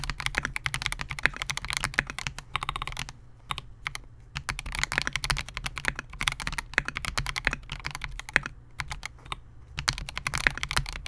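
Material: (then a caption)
Plastic. A Melgeek MOJO68 compact 68-key mechanical keyboard with Gateron G Silver Pro switches, a clear polycarbonate case and SA-profile plastic keycaps rests on a desk mat while the fingertips of both hands type continuously. Rapid, bright, short clacks stream steadily, broken by a few brief pauses, over a faint low hum.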